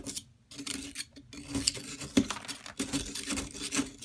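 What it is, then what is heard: Plaster block being scraped. A metal palette knife scrapes the surface of a solid yellow plaster excavation block, steadied by a hand with long nails, loosening rasping plaster powder. Short, bright gritty scrapes repeat over a faint low hum, with a brief near-silent pause early on.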